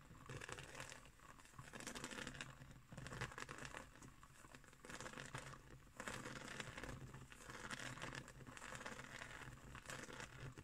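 Long green acrylic nails scratch and tap across a round, flat woven straw/seagrass trivet resting on a wooden table. Dense, crinkly rasping comes in swelling waves that rise and ease off every couple of seconds, over a steady low hum.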